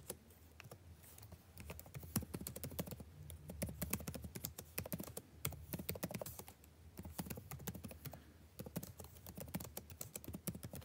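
Fingertips of both hands type fast on a backlit laptop keyboard with plastic keys. The result is a steady, dense run of soft, quick clicks and taps with a low, muffled body and brief bright edges that die away almost instantly. No other sound is heard.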